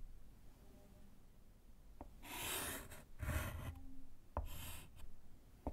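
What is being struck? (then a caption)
Slate chalkboard in a wooden frame, written on with chalk. A gloved hand writes with yellow chalk on a small, flat, solid slate chalkboard in a wooden frame. Bursts of bright, breathy chalk scratching and rubbing alternate with a few short, sharp taps against a quiet background.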